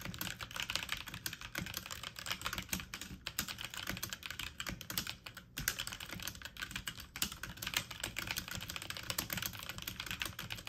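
Fingertips and medium-length nails type fast on a full-size backlit mechanical computer keyboard with plastic keycaps. The result is a dense, steady stream of bright, clicky key taps with short, dry decays and a light low-end thud under each stroke.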